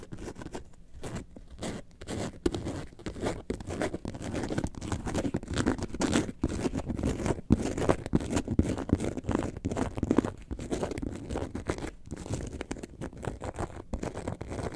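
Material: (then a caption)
Faux leather. Long nails scratch the front panel of an upright faux leather lemonade-carton bag. The result is a continuous run of dense, quick scratching strokes, muffled and mostly low-to-mid in tone with little high brightness, each stroke dying away almost instantly.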